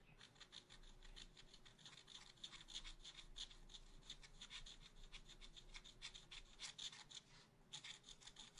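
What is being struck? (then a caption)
Scratch art paper sheet scratched with a wooden stylus. A wooden stylus scratches rapidly across a black-coated scratch art paper sheet in a spiral notebook to fill in a pot. Quiet, bright, raspy strokes repeat in a fast, steady series with short, dry scrapes. A faint low rumble sits underneath.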